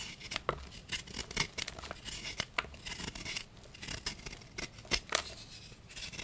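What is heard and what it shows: A small knife scrapes and cuts into the underside of a solid pink and white gym chalk block (magnesium carbonate) held in the hand, and the shavings fall into the chalk pile below. The sound is dry, bright scratching with quick, crisp cuts standing out above a steady gritty rasp.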